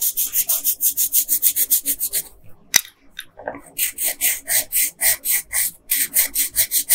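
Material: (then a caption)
Paper. A hand with long pink nails rubs a yellow colored pencil back and forth over the hair on a flat paper coloring page, making quick, bright, scratchy strokes in a steady rhythm. The strokes pause briefly with a single sharp tick, then resume at the same brisk pace.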